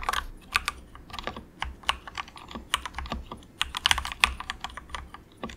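Fingertips of both hands softly type in quick taps on a very cheap, compact 68-key mechanical keyboard with grey and orange plastic keycaps and a hollow plastic case. A rapid, uneven stream of short, bright, clacky key clicks follows, each dying away almost instantly, with little low end.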